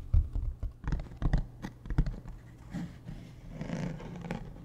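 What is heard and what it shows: Fingertips tap a large, hollow, beige hard-shell plastic suitcase standing upright, near its zipper side. A quick, irregular run of dull, low, hollow thuds dies away almost instantly, then gives way to quieter, softer taps and light scratchy brushing toward the end.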